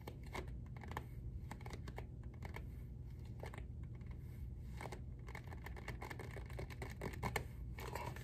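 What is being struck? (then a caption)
Hardcover journal with cloth-covered board cover. A medium-size closed hardcover journal with a dark navy covered-board cover printed "Choose your own adventure" is held upright in one hand while the fingertips and nails of the other hand tap rapidly on the front cover. The result is a quiet, steady run of quick, dry clicks and light scratchy taps over a low, rumbling background, with brief bright edges on each tap.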